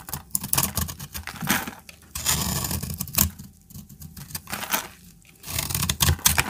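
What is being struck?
Bar of soap scraped with a metal blade.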